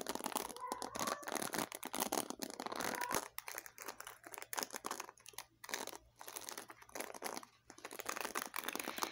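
Long fingernails and fingertips scratch and flick the black plastic pin bristles of a small paddle hairbrush with a white and blue plastic frame, held in both hands. Dense, bright crackling and crinkly scratching comes in rapid bursts with short quiet gaps. There is almost no low end, and each flick dies away instantly.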